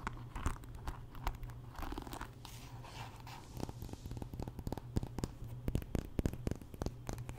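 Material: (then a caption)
Wood. Long nails scratch across the bristle pins and wooden body of a wooden paddle hairbrush, giving close, dry crackling and scratchy rasps. A quick run of sharp clicks and ticks grows denser and louder in the second half. A steady low hum sits underneath throughout.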